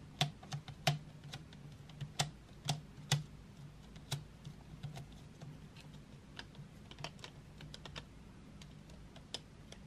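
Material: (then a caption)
Wood. Long nails tap painted wooden graphite pencils and their sharpened tips as they lie in an open metal tin tray. The taps are sharp, dry and irregular, with bright, clicky high attacks that die away almost instantly. A quiet, steady low hum runs underneath.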